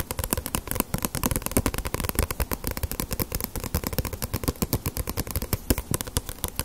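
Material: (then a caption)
Paper. A small, solid paperback One Piece manga with a glossy paper cover is held in the hands and tapped rapidly with fingertips and long nails on its front cover and edges. The result is a steady, dense patter of short, dry taps, with dull low thumps from the fingertips mixed with crisp clicks from the nails, each dying away almost instantly.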